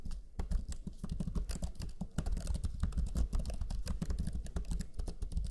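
Rapid typing with the fingertips of both hands on the black plastic chiclet keyboard of a Lenovo Legion 5 laptop, its low-profile plastic keys giving quick, dull taps. The presses come in a dense, steady stream, about forty of them, each dying away almost at once, with most of the energy sitting low and soft.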